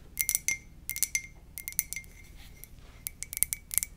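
A white ceramic mug is tapped gently with quick, irregular taps in small bursts. Each tap is a short, bright click with a faint ringing tone around 2 kHz that dies away almost at once.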